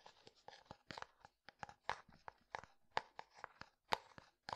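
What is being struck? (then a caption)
Plastic jar filled with powder. Fingertips tap the white lid and side of a clear plastic jar filled with pale powder. About seventeen quiet, sharp, dry taps land at an uneven pace, with a hollow mid-pitched click and no ring after each one.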